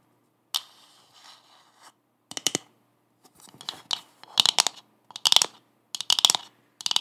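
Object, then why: Coconut shell half. Long acrylic nails tap and scratch a hollow brown coconut shell half with a fibrous surface. Irregular bursts of bright, dry scratching and clicking follow one another, with quiet gaps between them. Each burst stops almost at once, with no ringing.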